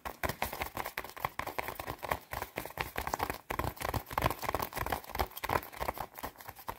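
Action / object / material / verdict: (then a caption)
scrape / padded nylon down jacket / nylon / none. Long red nails scratch fast at the padded chest panel of a white quilted nylon down jacket, shown close up. The result is a dense, rapid run of crisp, papery scratching bursts with a rustling tone around 1 kHz and a bright hiss on top. Each burst stops short with almost no ring.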